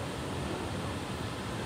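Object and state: Nothing is struck.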